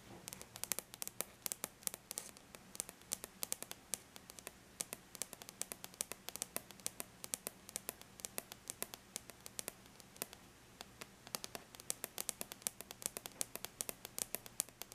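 Long bare natural nails tap quickly and lightly on a flat silver-gray aluminum laptop lid. The result is a steady stream of tiny, bright, clicky taps that stop instantly with no ring, over a faint low hum.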